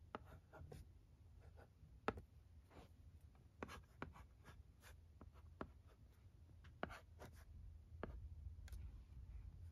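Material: Plastic.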